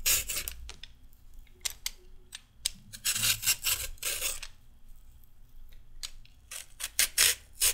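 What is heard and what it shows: A red metal peeler is drawn down a solid raw carrot in a series of quick, uneven strokes. Each stroke makes a bright, crisp rasping scrape. Short pauses fall between the strokes, and each one ends quickly with almost no ring.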